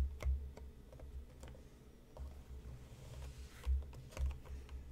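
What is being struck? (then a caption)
Cardboard tea box. Fingertips and nails tap the front and top edge of a hollow, medium-sized printed cardboard tea box resting on a cutting mat. The result is a scattered run of soft, dry clicks and ticks over a steady low rumble, each tap fading quickly.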